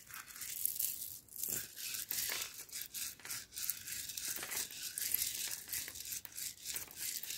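Loose roasted coffee beans are gathered in the hands, rubbed together and swept across a cloth mat with the palm. The result is a dense, bright, crunchy rustle with almost no low end, rising and falling in overlapping bursts.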